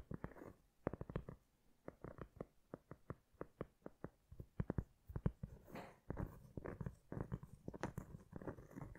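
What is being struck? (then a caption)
Cork board. Long red acrylic nails tap and scratch a flat, solid, hand-sized heart-shaped cork board held in both hands. Quick, dry, dull taps come in irregular clusters, interspersed with soft, brushy scratching passages. The sound is quiet and low-heavy, with almost no ring after each tap.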